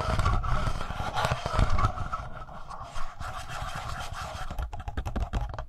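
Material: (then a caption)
Plastic. Fingertips tap and rub the front panel, just below the logo, of a hollow black plastic Tascam handheld audio recorder. The result is a steady run of soft, boomy low thumps mixed with dry scratching and scraping textures, with a faint midrange hum underneath.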